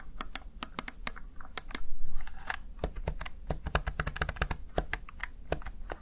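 Fingertips with short nails press and tap the keys of a small black plastic backlit Razer Tartarus Chroma gaming keypad, seen in a close angled view. A quick, irregular run of sharp, dry plastic clicks and taps, each with bright tops and almost no ring, sits over a steady low hum. Around the two-second mark there is a louder, softer swell.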